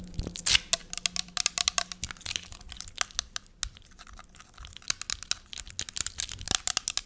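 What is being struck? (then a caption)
Small plastic spray bottle. Long nails quickly tap and scratch a small clear plastic spray bottle filled with pink liquid. Dozens of crisp, bright clicks and scratchy, crinkling rasps come in rapid bursts with no ring, over a faint low hum in the first two seconds.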